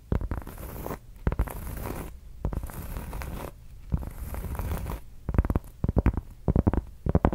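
Long acrylic nails scratch and tap a large, round, flat, solid cork board or coaster. Bursts of soft, airy scratching give way to a series of dull, dry taps with no ring, most of them clustered in the last few seconds.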